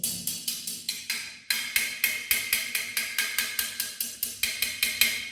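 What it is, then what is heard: Hollow-sounding ceramic wall tile. A ceramic wall tile is tapped repeatedly with steel, giving 23 sharp, bright clicks with short rattling decays and a brief pause near the middle. The tile sounds hollow, showing an air gap behind it, so it needs to be rectified.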